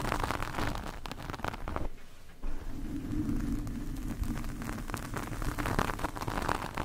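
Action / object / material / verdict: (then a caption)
scrape / foam microphone windscreen scraped by metal fork tines / foam / none. Metal fork tines scratch along the sides and top of a black porous foam microphone windscreen, producing a dense, crackling, rustly scrape weighted toward the low end. The scratching dips briefly to near quiet around the two-second mark, then resumes as a steady, muffled grinding with a faint low tonal layer under the crackle.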